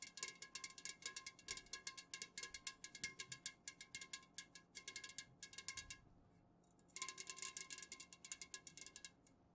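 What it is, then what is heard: Full metal juice can. A tall, unopened, full metal can of Jumex guava nectar is tapped rapidly with long fingernails while standing upright, then laid on its side on a soft cloth and tapped again. The taps are quick, bright, clicky and metallic, with a short ring of about 2.1 kHz, and they pause briefly before resuming.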